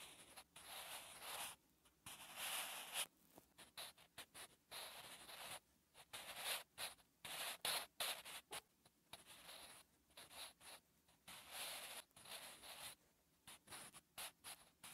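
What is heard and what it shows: A graphite pencil writes on a lined paper notebook page in short, uneven scratching strokes, each a dry, bright, papery rasp separated by brief silences. The sound is quiet and high, with almost nothing in the low end.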